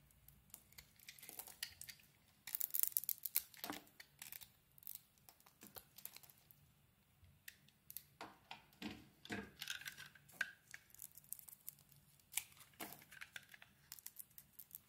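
A utility blade carves and scrapes blue chunks off a solid blue marbled oval soap bar with purple glitter edges, held in the hand. Quiet, crisp, bright scraping and cutting clicks come in quick irregular bursts, with a louder stretch of shaving near the start, over a faint low hum.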